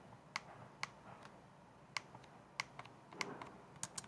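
Long dark nails tap and type on the keys of a white plastic laptop keyboard, its base held upright close to the camera. About twelve sharp, bright clicks come at an irregular pace, each dying almost instantly, over a faint steady hiss.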